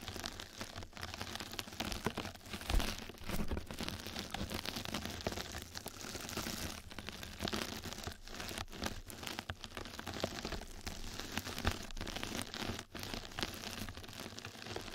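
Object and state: Mesh bath sponge being scratched.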